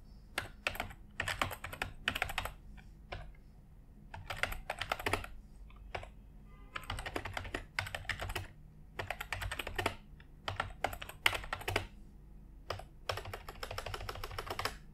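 A white full-size plastic computer keyboard on an office desk is typed on with the fingertips of both hands. Bursts of rapid, bright key clicks come in uneven clusters over a steady low hum, with short pauses between runs.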